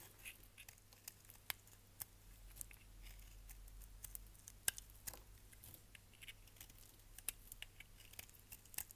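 A solid purple striped bar of soap is held in hand and scraped and shaved with a utility knife blade, producing soap flakes. Quiet, dry, bright scratchy shaving is punctuated by many short, crisp clicks and cracks that stop almost instantly, over a steady low hum.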